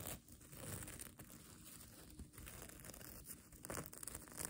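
Long nails scratch and flip the multicolor reversible plastic sequins sewn onto the soft, flexible fabric of a mermaid tail blanket. The result is a continuous dense crackling rustle with a bright, crisp top and a steady low rumble underneath.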